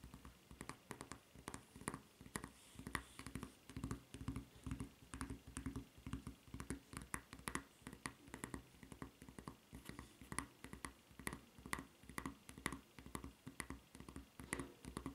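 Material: Rubber.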